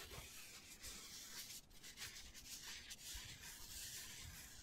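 Fingertips and short nails rub and scratch a hand-sized black foam cylinder with a hole in one end. The result is a quiet, continuous, bright scratchy rustle with light low bumps underneath and a brief dip in the middle.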